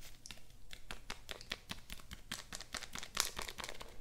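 A small, flat blister pack, a clear plastic front on a printed cardboard card showing a pink bow, is held up and crinkled and scratched with long painted nails. It makes a quiet, rapid run of dry, bright plastic crackles and clicks that stop instantly with no ring, over a faint low hum.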